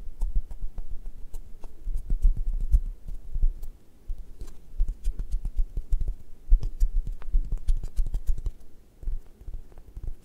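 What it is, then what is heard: Foam squishy toy toast. A brown, leather-textured foam squishy toast, solid, is held in one hand while fingertips and nails scratch and press its surface. The result is a dense run of soft, low, muffled scratches and quick taps with faint high clicks, each dying away almost at once, with a few brief quiet pauses between bursts.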